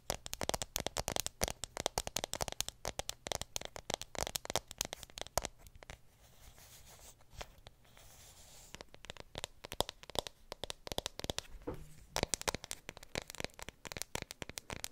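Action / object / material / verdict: tap / aluminium phone back / aluminium / none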